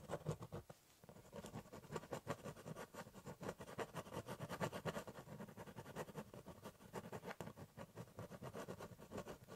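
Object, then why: Ballpoint pen on corrugated cardboard. A ballpoint pen scratches hatching strokes across the top of a large corrugated cardboard box, giving a steady run of short, dry scratching strokes with a low, hollow papery body. The strokes come in quick rhythmic bursts with a brief pause near the start.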